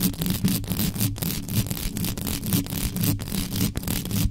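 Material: Metal mesh.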